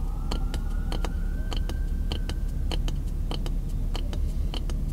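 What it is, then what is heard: Wooden block tapped by fingertips and nails. A solid block of pine lumber, about the size of a short 2x4 offcut, is held in one hand while the fingertips and nails of the other hand tap and scratch the wood. Crisp, bright clicks come in a steady, even rhythm over a constant low rumble, with a faint tone rising slowly in the background.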